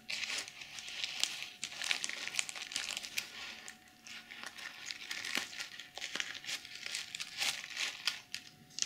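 Long nails scratch and flip the reversible plastic sequins on a small zippered BH Cosmetics glitter pouch held in both hands. The result is a steady stream of bright, crinkly scratching with sharp little clicks, and no low end. The texture thins briefly in short quieter pauses between strokes.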